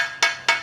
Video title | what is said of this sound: Mercedes SABOR FTSENNA no Brasil! Divulgando todos os detalhes do projeto. | If you knock it, it feels like it's hollow